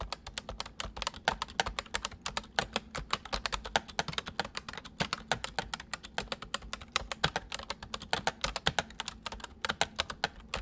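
Fingertips of both hands type rapidly on a white full-size plastic mechanical computer keyboard with hollow keycaps. It produces a dense, steady stream of short, bright clicks and clacks with very little ring, plus a faint low hum beneath.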